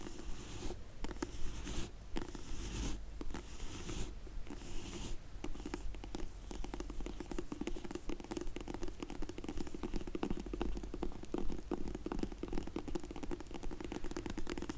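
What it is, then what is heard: Faux leather glasses case. Long nails tap and scratch the top and edges of a closed, dark grey faux leather hard sunglasses case held in the hands. The sound is a quick, soft patter of dull, short taps over a steady low rumble, with brief bright scratching bursts in the first few seconds.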